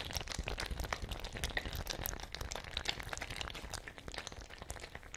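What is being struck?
Fabric ice bag with metal cap, partly filled with water.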